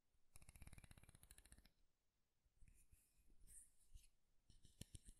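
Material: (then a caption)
Wood. A light, solid wooden comb has its teeth strummed by fingernails, giving a quick run of dry, rapid clicks for over a second. Fingertips then rub softly along the comb's edge with a faint, airy scratching, followed by a few sharp, dull taps near the end. Everything is quiet and close, with a low woody body under brief, crisp ticks.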